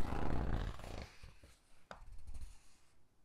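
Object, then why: Hardcover book with glossy paper pages. Fingertips with long dark nails squeeze and flip the glossy photo pages of a large hardcover Titanic book lying open. A dense, low, rumbling rustle of gripped paper fades over the first second, followed by several softer, separate crinkles and page flicks that die away.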